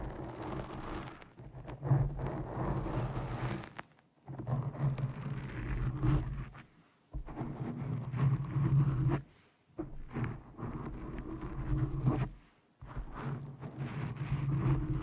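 Long nails and fingertips scratch and stroke a black foam windscreen over a microphone, producing deep, muffled rumbling and rough scraping with almost nothing bright. The sound comes in five sustained stretches separated by brief silences.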